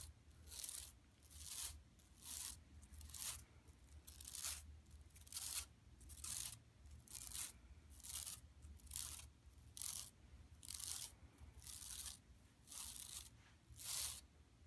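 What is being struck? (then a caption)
Woven plastic mesh bag. Long nails scratch and scrape across a large, flat, empty yellow woven plastic mesh tote bag lying on carpet. The result is a steady series of bright, hissy rasping strokes, about one per second, with a low hum underneath throughout.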